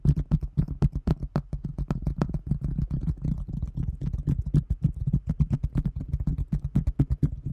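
Long nails tap rapidly and unevenly on a large, round, thin translucent plastic container lid held in front of the microphone. Each tap is a short, dry click with a hollow, low-pitched thump that dies away almost instantly, and the strongest taps carry brief bright ticks. The taps run continuously at about four per second.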